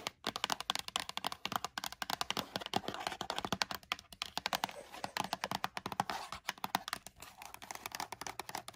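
Long nails tap quickly across the top and sides of a small, closed Lego Super Mario cardboard box. The result is a steady stream of short, crisp, bright clicks with almost no low end and very little ring after each tap.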